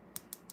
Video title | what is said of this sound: Learning Acrylic Nails | once you're able to hear a sharp click, that's going to show you when your product is completely set